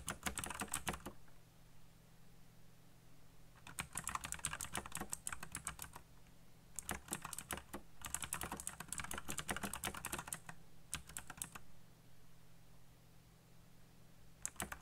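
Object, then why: Plastic mechanical keyboard. Fingertips type fast on a backlit black plastic mechanical keyboard with RGB lighting and hollow key switches, giving bursts of sharp, bright clicking keystrokes. Several flurries of rapid taps come with short pauses between them, over a faint low hum.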